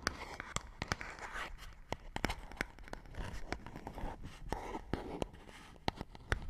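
A small empty cardboard medicine-style box is held in both hands and tapped and scratched with long nails. Crisp, dry clicks sound over a continuous papery scratching. The taps are brief and quickly fading.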